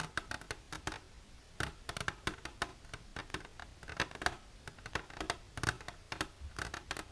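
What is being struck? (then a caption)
Clear plastic container. Long silver nails tap and scratch an empty, hollow, clear plastic container held upright in both hands. Rapid, irregular clicks and brief scrapes come in clusters, each dry and fast-decaying with a hollow mid-range tone and bright edges. The taps are soft to moderate over quiet gaps.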